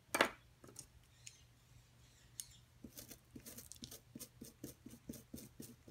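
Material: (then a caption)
Plaster. A metal pick digs and scrapes at a solid white plaster block from a dinosaur-nest excavation kit, working near the object buried inside. A sharp, bright scratch opens the clip, followed by a few sparse clicks. Then comes a steady run of short, gritty scraping strokes as the pick chips away at the plaster.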